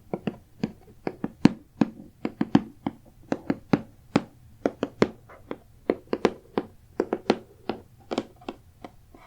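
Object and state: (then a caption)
Cardboard game board tapped. Fingers tap rapidly across the cardboard of a Stuffed Fables game board, checking it for hollow spots. Dozens of short, dry knocks sound, each dying away almost at once with a low, muted body.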